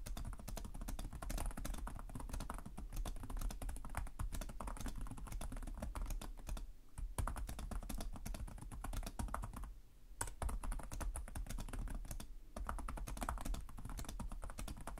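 Both hands type rapidly with their fingertips on the plastic chiclet keys of a black laptop resting on a desk. A dense stream of short key taps, with a strong low thump under each one, runs continuously, with brief pauses near 7, 10 and 12.5 seconds.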